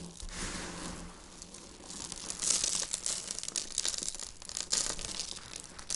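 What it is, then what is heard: Dry crushed soap flakes. Finely crushed dry soap flakes, shaved with a peeler, dried and crumbled into powder, are pressed with flat hands and rubbed between fingertips. The result is a dense, bright, crackly crinkling and crunching that starts soft and grows busier and louder about halfway through.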